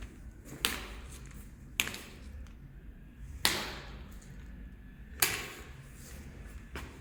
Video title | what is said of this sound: B.E.K. tile and grout. | you hear that sound of broken glass so you hear that there are hollow spots